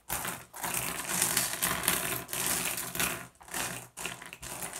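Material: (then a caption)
Glass. Fingertips rake and shuffle a pile of small, solid, blue iridescent flat glass gems on a wooden surface. The result is dense, bright clicking and clattering that comes in a few long bursts separated by brief near-silent pauses.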